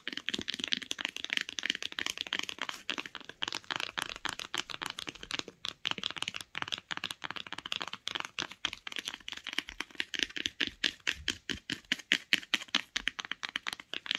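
Long acrylic nails tap and scratch quickly along the solid printed spine of a closed hardcover book. Dozens of sharp, dry, bright clicks come in a fast, uneven stream, mixed with light scratching. The sound has almost no low end and no ring.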